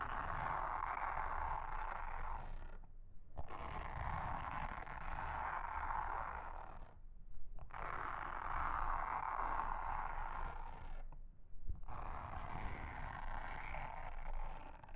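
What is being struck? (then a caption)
Silicone honeycomb trivet mat. A pink mascara spoolie wand is scratched along the cells of a large, round, flat, solid blue silicone honeycomb trivet mat. It makes a steady, dense, bristly rasp centered in the midrange, with a low rumble underneath. The scratching runs in long continuous passes broken by brief pauses.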